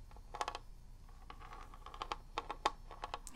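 Long red nails tap rapidly on the top and label of a handheld gold Legend of Zelda NES cartridge, a hollow plastic shell with a ridged grip area. About a dozen quick, dry, hollow clicks land in an uneven rhythm, each with a bright edge and a tone near 840 Hz. The taps die away almost instantly over a soft, quiet background.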